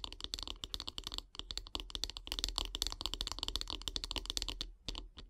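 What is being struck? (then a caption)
Wooden bath brush handle. Long grey nails tap quickly on the solid light-wood handle of a bath brush, making a fast, uneven run of short, dry, bright clicks. Each tap dies away at once, over a faint low steady hum, with a brief pause near the end before a few last taps.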